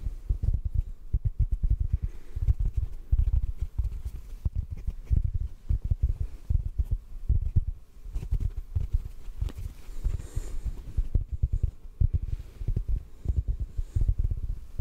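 A large, soft, solid yellow porous synthetic foam sponge block is held above a microphone and gently tapped with the fingertips. The result is a steady stream of rapid, muffled, deep thumps with almost no ring, plus faint brief high rustles now and then.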